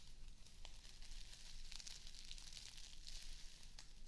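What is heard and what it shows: A small square of plastic artificial grass is held close to the mic while long acrylic nails scratch and ruffle its blades. The result is a soft, continuous crackling and rustling with bright hissy scrapes over a steady low rumble.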